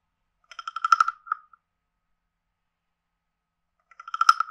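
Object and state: Wooden frog guiro.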